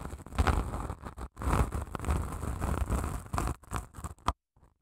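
Long nails scratch along the gritty face of a long grey padded emery nail file with grit over a foam core. The result is a dense, low, rough scraping texture in uneven strokes that break off briefly now and then. It stops abruptly near the end, leaving near silence.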